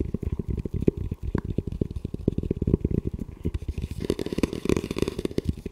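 Fingertips tap and scratch the shell and front mount of a hollow, camo-covered composite tactical helmet with a velcro strip, held upright in front of the chest. A dense run of quick, dull, low-pitched taps has almost no ring, with light scratching rustle between them that grows brighter toward the end.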